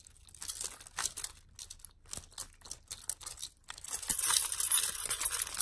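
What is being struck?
Bunch of metal keys on a keychain.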